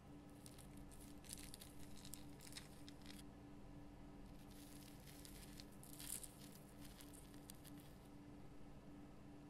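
Long fingernails scratch the rough crystal surface of a large, solid pink Himalayan rock salt lamp lit from inside. Quiet bursts of bright, crinkly scratching and patter come and go over a steady low hum.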